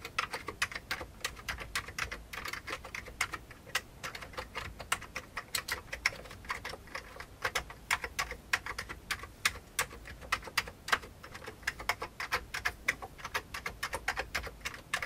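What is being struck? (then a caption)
Plastic computer keyboard. Fingertips of both hands type rapidly on an old beige full-size plastic computer keyboard with hollow keycaps. About 80 short, dry, clicky taps follow one another for 15 seconds, each dying away almost at once. The clicks have a bright, hollow plastic tone centred near 2.2 kHz, with very little low end.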